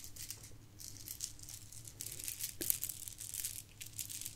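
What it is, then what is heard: Plastic bead garland rattling. A pile of gold plastic bead garland is poured and rolled between cupped palms and shaken close to the microphone. Dense, bright beads rattle and clatter continuously with short crisp clicks, plus a faint low hum underneath.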